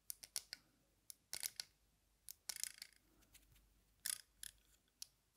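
Metal-frame aviator sunglasses with dark lenses are held up while a long nail taps the dark lenses and the metal frame. The result is quiet, sharp, bright clicks in irregular clusters, with almost no low end and no ring after each tap.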